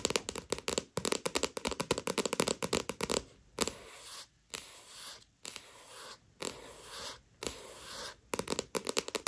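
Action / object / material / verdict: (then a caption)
scrape / paperback book with card cover / card stock / none. Long nails scratch and tap the card-stock cover of a Tokyo Ghoul paperback manga with a dust jacket, lying flat. A fast run of crisp, dry taps gives way to slower, steady scraping strokes separated by short pauses, with a bright, papery texture and little low end.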